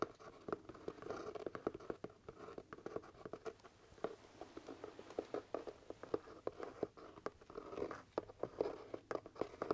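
Fingertips and nails tap and scratch the leather crown of a hollow, empty black leather top hat. The result is a quiet, rapid patter of short, dry clicks over a soft scratching texture with a hollow mid-range tone around 450 Hz. Each tap dies away almost instantly.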